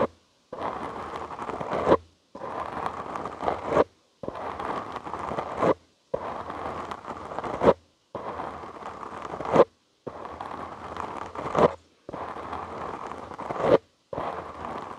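Short nails and fingertips scratch the soft, porous black foam windscreen on a studio microphone, making a dense, fuzzy rasp centered in the mid-range. The scratching comes in eight steady bursts separated by brief silences, each swelling louder just before it stops.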